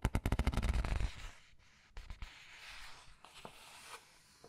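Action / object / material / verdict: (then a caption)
scrape / glossy paper book pages / paper / none. Red-nailed fingertips rub the glossy illustrated paper pages of a large open paperback art book and turn its pages. A rapid run of about ten soft, low thumps fills the first second, then it settles into quiet papery rustling with a few light, bright swipes.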